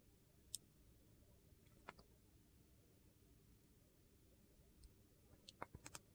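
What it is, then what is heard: Glycerin soap being carved. A solid oval bar of clear glycerin soap with colored cubes, held in hand, has thin layers sliced off with a metal utility knife. Sharp, dry clicks and scrapes come in sparse bursts over a quiet background. They cluster more densely near the end.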